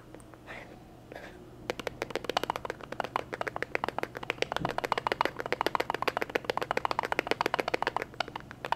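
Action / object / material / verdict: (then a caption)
tap / glass jar / glass / none. A glass jar is tapped in a rapid, uneven run of short, dry clicks, about 54 taps with almost no ring. A quiet stretch of soft sound comes first, then the tapping starts at about 1.7 seconds and continues to the end.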